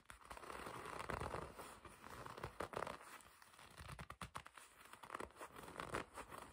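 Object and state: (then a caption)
Leather jacket being scratched and gripped. Long red nails grip and scratch the black leather panel of a black and red leather racing jacket. The result is a continuous, crinkling, scratchy rustle with brief crunchy bursts, centered in the midrange with little low end.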